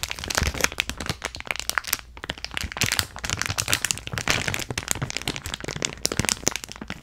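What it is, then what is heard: Plastic bag of small beads. A clear plastic bag filled with small purple beads or granules is cupped in both hands while long nails squeeze and scratch it. The plastic gives off dense, bright crinkling and crackling with many quick, sharp snaps across the clip.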